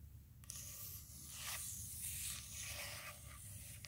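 Long pointed nails on the fingertips of both hands scratch and tap across a large, round, solid wooden table slab. After a brief quiet start, a steady, bright, hissy scraping sets in and carries through the clip, with soft taps woven in over a faint low hum.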